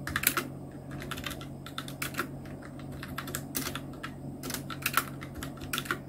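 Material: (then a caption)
Plastic. Fingertips type continuously with both hands on a full-size black Nubwo Illution NK-70 mechanical keyboard with Outemu red switches, round plastic keycaps and blue backlighting. Quick, bright plastic clacks tumble in irregular bursts over a steady low hum, each keystroke dying away almost instantly.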